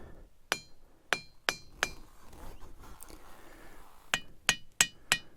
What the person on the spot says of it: Each rock makes its own noise.